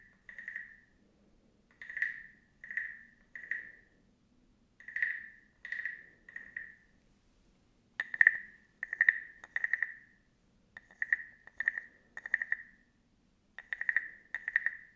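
A small, hollow, carved wooden frog guiro is scraped and tapped with a wooden stick, first close to the camera and then at chest height. It gives short, dry, croaking ratchet bursts with a clear pitch near 1.8 kHz, each fading almost instantly, over a faint steady low hum. The bursts grow louder and sharper in the second half.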